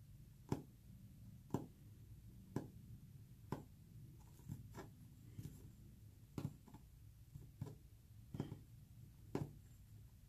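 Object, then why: Painted wooden panel. Short fingernails tap a solid, flat white painted wood panel with visible brush texture. A slow, uneven series of quiet, sharp taps comes about once per second, each dying away almost instantly over a low, steady background rumble.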